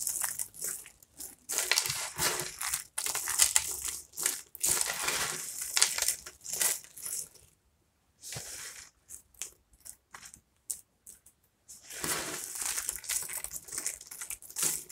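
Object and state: Dry soap flakes, brittle.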